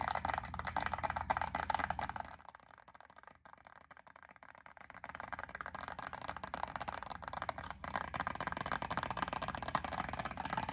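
Long acrylic nails scratch and tap a small clear plastic clamshell pack of wax melt cubes with a yellow label, making a dense run of crisp plastic clicks and scrapes centred around 1 kHz. The sound drops to a quieter, sparser stretch between about 2 and 5 seconds before the busy tapping and scratching returns.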